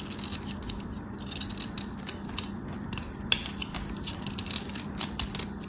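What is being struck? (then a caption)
Bar of soap cut with a metal blade. A small, solid, white round hotel soap bar, held in fingers with long manicured nails, is shaved and carved with a metal craft knife blade as soap flakes fall away. The cutting produces a dense run of crisp, bright scraping and crackling ticks over a faint steady low hum. One sharper click stands out about midway through.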